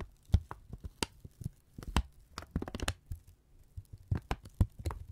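A thin strip of brown kraft paper is held in both hands and repeatedly folded and squeezed with the fingertips. The paper gives off short, dry crinkles and crackles, with soft low thumps under sharper bright snaps. The sounds come in quick, uneven bursts with brief pauses between them.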